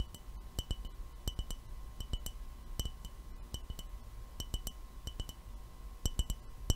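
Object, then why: Glass jar. An empty, lidless clear glass mason jar is held in both hands and tapped with the fingernails. Quick, light glassy clicks come in an irregular rhythm, often in close pairs, each with a very short bright ring. A steady low hum sits underneath throughout.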